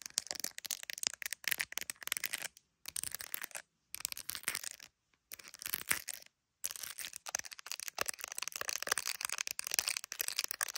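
Long acrylic nails rapidly tap and scratch the camera area and clear hard plastic case of an iPhone, the recording phone itself, held up to a mirror; the case is decorated with resin gummy bear charms and has glass camera lenses. Dense, bright, crisp clicks and scratchy rasps fill the clip, broken by a few brief silent pauses.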